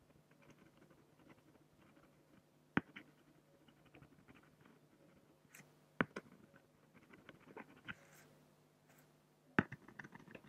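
A black fine-liner pen draws sparse strokes across a large, flat, solid acrylic sheet. Quiet, dry scratches come and go over a low, steady background hum, broken by a few sharp, bright ticks as the pen meets the surface.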